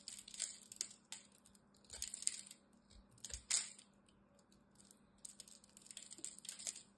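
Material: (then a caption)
Soap. A small craft knife blade cuts and scrapes the edge of a solid green bar of dry soap held in the hand, breaking off brittle flakes and cubes. Bright, dry crunches and crackly scrapes come in irregular bursts separated by quiet gaps, over a faint steady low hum.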